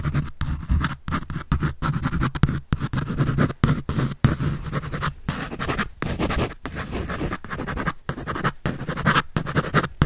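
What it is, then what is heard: Pencil scratching on paper. A pencil tip scratches rapidly across a white paper drawing sheet on a sketch pad held by hand. The result is dense, raspy scratching in short bursts separated by brief silent pauses, with most of its weight in a low, papery rumble.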